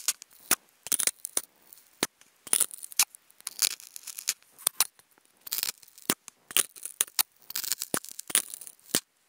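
Wooden toothpicks scratch across a hollow, octagonal white polystyrene foam food container. Irregular bursts of bright, squeaky, dry scratching come with almost no low end, and each stroke stops short with no ring.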